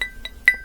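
An aluminum alloy part from a Ltwoo and Hassns bicycle groupset is tapped while being unboxed, its thickness the reason for the test. Three short, bright metallic clinks ring at about 2 kHz and fade quickly, with the last tap the loudest.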